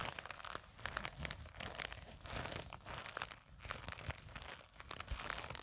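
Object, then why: Nylon fabric zip pouch. Long acrylic nails scratch across and squeeze a small, black, printed nylon zippered cosmetic pouch that sits on a table and seems to be filled. The result is a steady run of bright, crinkly scratching and rustling with short, crunchy bursts that rise and fall in loudness.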